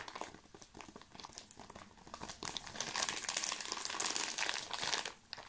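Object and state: Plastic-wrapped folded tarp.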